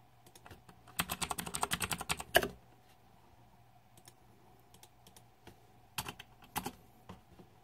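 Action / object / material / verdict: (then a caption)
tap / mechanical keyboard with plastic keycaps / plastic / none. Fingertips type on a green-backlit Razer 2014 Deathadder mechanical keyboard with plastic keycaps. A quick run of sharp, bright clicky keystrokes builds to a louder final press. Sparse quieter taps and a couple of firmer presses follow over a faint steady mid tone.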